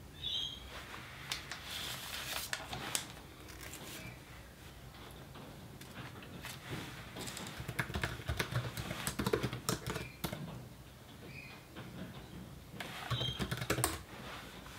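Fingertips of both hands tap steadily on the built-in plastic keyboard of an open laptop resting on a desk beside an untouched calculator. The result is quiet, irregular clicking keystrokes with a short, dry decay, growing busier in the middle and near the end. Faint high chirps, possibly birdsong, sound in the background.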